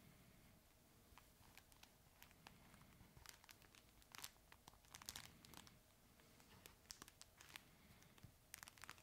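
A red, chip-bag-shaped plush dog toy made of fabric with crinkle material inside is held in both hands and squeezed and scratched with the fingertips. Soft, bright crinkling and crackling comes in irregular bursts over a quiet low rumble, with sharper crackles clustered near the middle and end.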